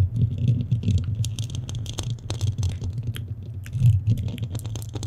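Fingernails scratch around the hollow metal mesh head of a black studio microphone. The result is a dense, continuous rumbling scratch, heavy with low thumping around 100 Hz, with scattered bright ticks and rasps over the top and short swells in loudness.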